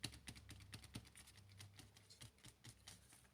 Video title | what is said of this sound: ASMR OLD SCHOOL GLOVE TRIGERS SOOTHING SOFT SLEEP AID SOUNDS , LEATHER LATER RUBBER OUNDS | You can see how thick they are. And I think you can tell that from the tapping sounds that they make.